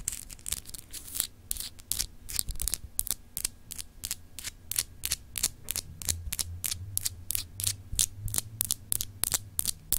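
Long acrylic nails scratch and tap a palm-sized solid clear glass globe paperweight with etched continents, held in both hands. A quick, irregular series of sharp, bright clicks and short scrapes rings off almost instantly, over a faint low hum.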